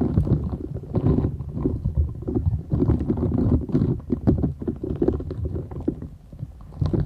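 A flat, thin, solid purple silicone scrubber sponge with short bristles is held folded in both hands while long acrylic nails scratch and tap across its bristled surface. The result is a dense, continuous run of soft, muffled, low rustling scrapes and dull taps, mostly deep in tone with little brightness. The level rises and falls throughout, dipping quieter near the end before picking up again.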